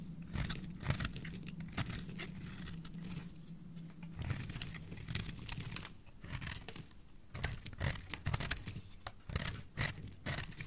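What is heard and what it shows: A metal blade scrapes and carves the edge and face of a solid, palm-sized cream-white bar of soap held in a hand with long dark nails, shaving off flakes. Rapid, dry, crunchy scraping strokes with bright crackling texture run throughout, over a steady low hum that fades after the first few seconds.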